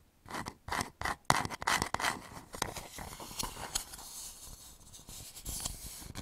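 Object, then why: Turned wooden bowl. Fingertips and nails scratch the curved outer surface of a medium, hollow, turned wooden bowl held upside down over the microphone. Short, separate scratchy strokes with a bright, rasping edge and a hollow midrange tone come first, then give way to a steadier, quieter continuous scraping.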